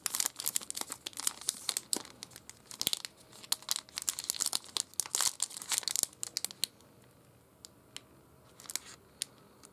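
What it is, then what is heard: Plastic-wrapped candy bar. A small sealed Snickers chocolate bar, still full inside its dark brown plastic film wrapper, is held between the fingertips and thumbs of both hands and squeezed and rubbed. The result is dense, bright, crisp crinkling for about the first seven seconds, which then thins to scattered, quieter crackles toward the end.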